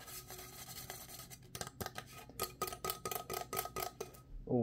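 A dark green plastic travel tumbler with a metal band and lid, hollow and held in the hands, is tapped with fingernails. Sharp, bright clicking taps come in quick bursts over a soft rubbing background, each with a short hollow ring. The taps grow louder and more evenly spaced toward the end before a low muffled rub closes the clip.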